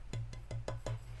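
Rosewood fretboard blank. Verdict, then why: Resonant. A rosewood fretboard blank, held lightly at the fingertips a third of the way in from each end, is tapped five times, giving short, woody knocks with a clear mid pitch over a low hum. Each tap rings only briefly, showing a good tap tone, and rosewood is judged acoustically superior to ebony and easier to work, making it a good choice for a first guitar.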